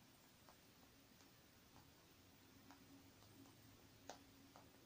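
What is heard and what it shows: Long painted nails tap on the surface of a small silver metallic faux-leather zippered makeup bag, lying closed, soft and partly filled, on a wooden table. A scattered series of quiet, short, dull ticks sounds over a steady low hiss, with one slightly sharper tap near the end.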